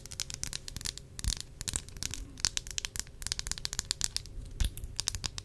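Long acrylic nails tap and scratch the glass sides of a small, square, partly filled perfume bottle with a round green cap. A dense run of quick, bright clicks and crisp scratching rasps is heard, with a few louder taps and soft low knocks underneath. Each tap dies away almost instantly.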